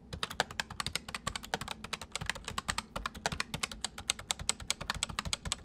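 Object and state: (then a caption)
Plastic mechanical keyboard. Fingertips type steadily on the main keys and numpad of a full-size white plastic mechanical keyboard with white keycaps resting on a wooden desk. The result is a rapid, continuous stream of short, bright clicks and clacks, each dying away almost instantly, over a faint low thud from the desk.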